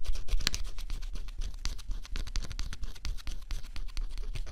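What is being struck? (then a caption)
Coated cardboard jigsaw puzzle scratched with a thin stylus. A thin stylus held by the fingertips scratches the coating off a flat scratch-off cardboard jigsaw puzzle. A steady run of quick, dry scrapes and crackles, bright and close, sits over a faint low rumble, with a slightly louder flurry at the start.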